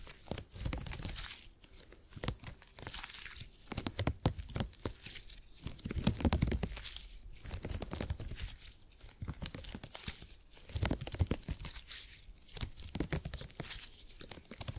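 A palm-sized purple open-grid cushion of soft, stretchy hyper-elastic polymer (Purple mattress grid) is squeezed, bent and stretched by fingertips. It gives quiet, continuous crinkly, squishy crackles with a soft low body, swelling and fading in waves.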